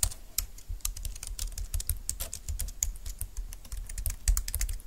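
Fingertips with long nails type quickly on a compact, thin dark-green plastic Bluetooth keyboard lying on a desk mat. The clip is a dense, steady run of light, bright plastic clicks and taps. Soft low thumps sit under the clicks.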